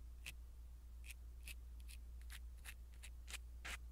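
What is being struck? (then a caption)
Foam microphone windscreen. A blue silicone-bristle ear pick brushes a small black foam windscreen on a pin microphone. It makes a series of short, soft, bright scratchy strokes, each centered around 2.5 kHz. Beneath them runs a steady low hum.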